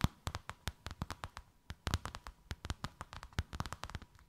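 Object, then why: Thin faux leather sheet over a rounded form. Long white acrylic nails tap and scratch a thin white faux-leather sheet with a snakeskin emboss, draped over something rounded. About 25 quick, dry taps land in an uneven rhythm, with a brief pause near the middle. Each tap gives a soft low thump with a bright, clicky edge that dies away almost instantly, all at a quiet level.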